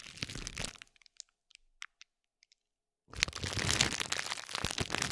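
A metal spiked roller is rolled over a stacked pad of green and pink plastic bubble wrap resting on a gold plate, producing dense, bright, crunchy crackles. The crackling thins to a few scattered sharp clicks, pauses in silence while the roller is lifted, then returns louder and denser as it is rolled back down onto the bubbles.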